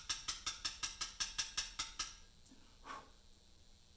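A mallet strikes a chisel held against a large, solid Portland limestone memorial slab, cutting letters with eleven quick, rhythmic taps over about two seconds. Each tap is a bright, high click with a very short ring. After a pause with a faint softer sound, one more tap lands at the end.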